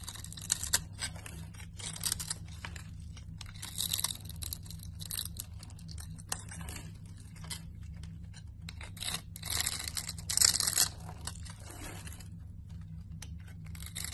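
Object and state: Bar of soap being scraped.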